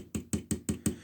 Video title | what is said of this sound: Joytoy Warhammer 40k 1/18 Raider Pattern Combat Bike Ultramarines & Black Templars Review. | That's hollow plastic, very thin.